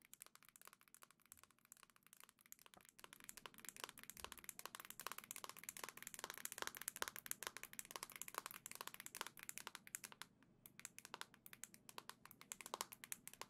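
Long nails tap rapidly on the black plastic back of a Nintendo Switch console held in both hands, making a fast, steady stream of crisp, dry, high-pitched clicks with almost no ring. The tapping is quiet at first and grows somewhat louder after a few seconds.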